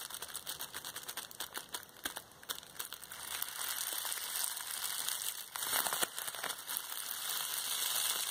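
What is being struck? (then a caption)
Plastic bubble wrap roll. A large, hollow, cylindrical roll of clear plastic bubble wrap is held horizontally in both hands while the fingertips squeeze and press the bubbles. Bright, dry crinkling runs throughout, broken by short sharp pops. The sound grows louder and denser after the first few seconds.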